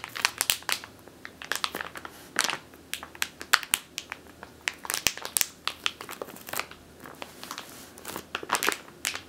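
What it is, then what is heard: Plastic bag of flour. Long teal nails crush and scratch a medium clear plastic bag with a purple label, full of flour or grain. Dense, bright crinkling and crunching come in quick irregular bursts of short, sharp crackles with almost no low end, over about nine seconds.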